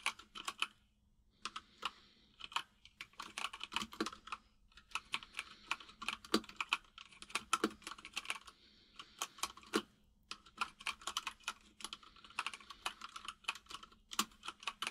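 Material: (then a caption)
Plastic. Fingertips of both hands type rapidly on a full-size mechanical keyboard with white and grey plastic keycaps and a hollow case, producing bright, crisp clacks that stop almost instantly. The taps come in quick bursts with brief pauses near the start and around the ten-second mark, over a faint steady low hum.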